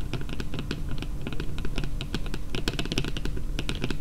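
Long painted fingernails tap fast on a flat, yellow printed cardboard card lying on a table. The taps are dense, quick and clicky, with a soft low thump under each and almost no ring.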